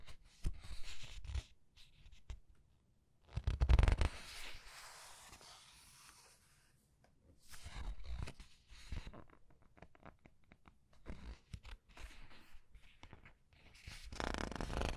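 Long red-nailed fingers lift, turn and rub the glossy paper pages of a large art book. Soft rustles and brushing swipes come in irregular bursts, with a louder crinkling turn near four seconds and another swell at the end.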